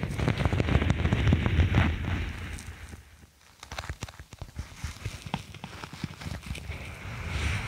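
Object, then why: Faux snakeskin vinyl sheet. A thin faux snakeskin sheet of vinyl or faux leather is curved over a microphone with its lighter backing visible, and long nails scratch its textured printed top. The result is a dense, bassy rasping with quick crackly ticks. It grows quieter midway, then builds back up toward the end.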